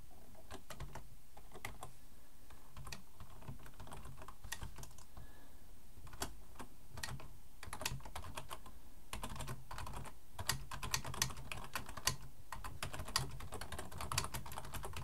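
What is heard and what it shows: Fingertips type on a black plastic full-size computer keyboard resting on a wooden desk. Quick, irregular key clicks with bright, short transients sit over a steady low hum. The typing grows denser and a little louder in the second half.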